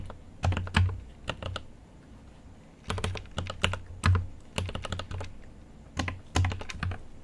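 A GMMK Pro mechanical keyboard with an aluminum case and plastic keycaps is typed on with fingertips in an irregular, continuous flurry of taps. Quick bursts of sharp, bright clicks alternate with short pauses, each keystroke carrying a low, muted thock around 90 Hz that dies away quickly.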